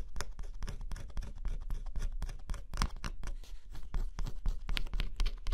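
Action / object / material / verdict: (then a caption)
scrape / cardboard jigsaw puzzle with scratch-off coating, scraped with a metal stylus / cardboard / none. Fingertips hold a small metal stylus and scratch the thin black coating off a flat, solid cardboard scratch-off jigsaw puzzle lying on black fabric. The result is a rapid, irregular run of short, dry scraping strokes, each bright and brief, over a steady low rumble.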